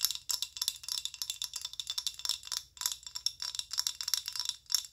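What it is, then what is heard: Plastic lotion bottle tapped with nails. Long acrylic nails tap rapidly on a filled amber rigid plastic body lotion bottle of about 190 ml. Each tap is a short, bright click with almost no ring, and the taps come in a steady stream of quick bursts.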